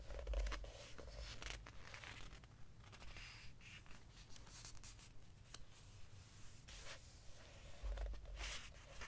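Fingers turn a page of an open hardcover book with glossy paper pages, and a palm rubs across the glossy surface. The result is quiet, papery rustling and smooth brushing swishes over a steady low rumble, with slightly louder crinkles near the start and the end.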